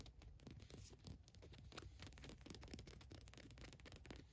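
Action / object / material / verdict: scrape / printed cotton t-shirt fabric / cotton / none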